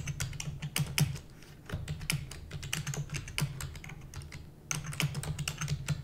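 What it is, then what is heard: Plastic computer keyboard. Long nails and fingertips of both hands rapidly type on a full-size black plastic computer keyboard with hollow keys. The result is a dense stream of short, bright clicks over a low, hollow thud, with each tap dying away almost at once. The typing eases to softer taps for a few moments before picking up again.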